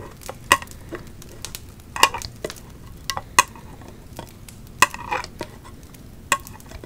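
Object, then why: Embossed thin metal candle lid. Long acrylic nails tap and scratch along the raised embossed pumpkin pattern of a round silver metal lid from a 3-wick candle, held in the hands. Sharp, bright metallic ticks ring briefly around a mid-pitched tone, scattered irregularly between softer scraping strokes over a faint steady hiss.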